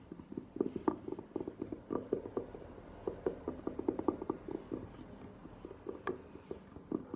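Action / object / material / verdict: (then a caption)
tap / velvet-covered hard glasses case / velvet / none. A velvet-covered hard glasses case stands upright and is scratched and tapped with long nails. Dense, quick, soft taps and brushing scratches with a muffled mid-low body are heard, with a few brighter clicks standing out. There is little deep bass.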